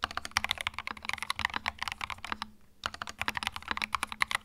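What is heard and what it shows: Fingertips type rapidly on a small white 65% mechanical keyboard with plastic keycaps and a hollow plastic case resting on a felt mat. The keys give bright, sharp clacks with almost no ring, pausing briefly midway before the typing resumes over a faint low hum.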